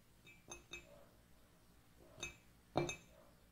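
Long nails tap the outer wall of an empty, hollow white ceramic mug with gold lettering, standing on a wooden table. The taps come as several light, sparse clinks, each a short, bright ring with a mid-pitched body that fades quickly. The last tap is the loudest.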